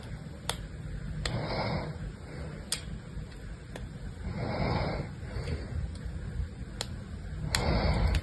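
A small blue-handled blade scratches and carves shallow grid lines into a solid, hand-sized rectangular bar of pink soap with white streaks, held in one hand. Sharp, bright ticks mark each cut, between soft, grainy scraping swells over a steady low background rumble.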